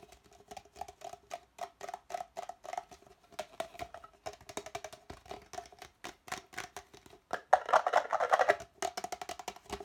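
Fingernails rapidly tap and scratch the outer wall of an empty, hollow red plastic party cup held with its opening facing outward. The result is a fast, uneven stream of short, dry, hollow clicks with a woody tone around 750 Hz. A louder, denser stretch of brighter scratching comes near the end.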